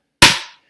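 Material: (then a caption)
Metal, plastic. An Amazon Prime Visa credit card, built with a metal core between two plastic layers, is dropped onto a table. It makes a single bright, high-pitched clang with a short metallic ring that fades within about a third of a second. The clang shows the card is metal.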